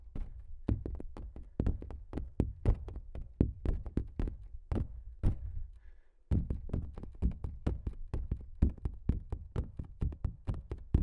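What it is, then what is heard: Stretched canvas print, hollow behind. Fingertips and nails of both hands tap and knock across a large, flat giclee print on canvas stretched over a frame with a hollow back. Rapid, dry, low thuds patter irregularly with almost no ring, pause briefly just before the midpoint, then resume at the same steady pace.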